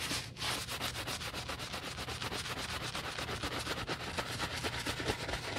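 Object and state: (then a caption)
Leather boot being scrubbed with a bristle brush. A wooden bristle brush with soap foam scrubs the heel and side of a black leather UGG men's boot. Rapid back-and-forth strokes make a steady, bright, wet bristly hiss with a low undertone that continues evenly throughout.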